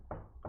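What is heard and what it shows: Two knocks on a wooden table, each a dull, low wooden thud with a short ring and no bright edge, struck to contrast its sound with that of a plastic chair. The difference shows that the material shapes the sound and timbre.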